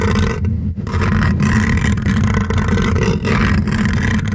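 Fingertips and short nails scratch and rub across the hollow metal wire-mesh grille of a silver condenser microphone while a hand wraps around its top. The result is a dense, continuous, low-heavy rumbling scrape with a steady hum around 200 Hz, broken only by a few brief dips as the strokes change.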